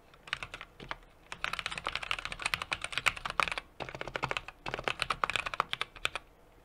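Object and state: Mechanical keyboard being typed on.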